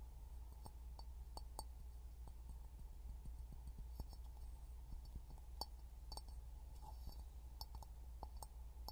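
An empty clear glass jar, held upside down over a small pin mic, is tapped with fingertips and nails. Soft clicks and light glassy clinks sound over a steady low hum, each dying away almost at once.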